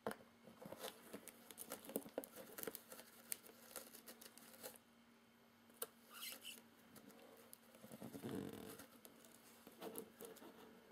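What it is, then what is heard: Cardboard box, tapped and scratched. Fingertips and nails tap and scratch the taped inner flaps of a hollow, medium corrugated cardboard box with its outer flaps open. Quiet, dry, crisp taps and papery scratches come in irregular flurries, with a brief lull near the middle and a rougher rustling swell toward the end. A faint steady hum sits underneath throughout.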